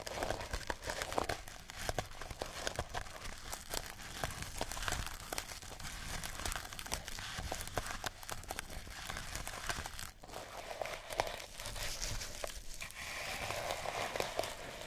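A small mouse-shaped cat toy wrapped in colored sisal rope with felt ears is held in the hand and scratched by long nails. Dense, rapid, dry scratching and crinkling rasps run almost continuously at a steady, fairly quiet level, with a brief dip around the ten-second mark. The texture is broadband and brittle, with bright fibrous detail.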